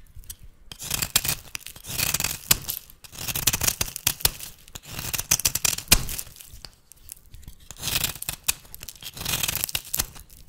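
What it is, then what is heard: Bar soap being shaved. A metal blade shaves flakes from the corner of a solid rectangular bar of rancid, cream-colored soap held in the hand. Bursts of bright, crackly scraping and tearing come in repeated waves, with brief pauses between strokes and a light low thud underneath.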